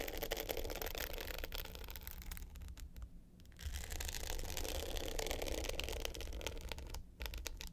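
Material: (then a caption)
Glitter coating. Long pointed nails scratch the dark blue glitter top of a small, rectangular, hollow hard-case clutch with a gold metal frame, lying flat. The result is a steady, dense rasping scrape with a bright gritty hiss and a low hollow rumble underneath. It eases briefly around the three-second mark and again just after seven seconds.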